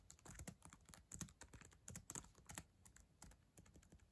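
Slow typing with long acrylic nails and fingertips on the plastic keyboard of a black ThinkPad laptop resting on a yellow blanket. Irregular, uneven bursts of quick keystrokes produce bright, sharp nail clicks over soft, low key thuds. Each tap dies away almost instantly.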